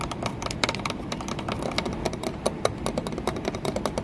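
Long nails tap rapidly and continuously on an embossed green textured glass window pane set in a wooden frame, sometimes near the wooden edge of the frame. The result is a dense stream of short, bright clicks with a faint glassy ring, over a steady low rumble.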